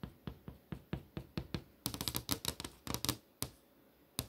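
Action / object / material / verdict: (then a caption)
tap / LCD monitor screen, plastic and glass panel / plastic / none. Fingertips and long nails tap the surface of a flat LCD monitor screen, a solid panel showing movie tiles. Evenly spaced, dull, dry knocks come first, then a quicker flurry of brighter, clickier nail taps. After a brief pause, a few last taps follow, each dying away almost instantly.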